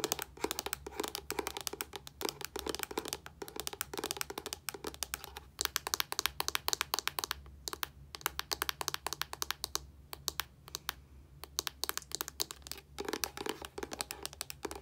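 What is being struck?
Plastic body wash bottle.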